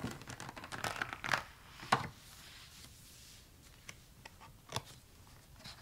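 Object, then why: Spiral-bound sketchbook with thick paper. A spiral-bound sketchbook with gold wire binding and thick drawing paper bearing pencil drawings: fingertips rub and trace over the page with dense, dry papery scratching and crinkling for about two seconds. A page is then flipped with a sharp rustle. Quiet, sparse paper ticks and brushes follow through the rest of the clip, with one brighter snap near the end.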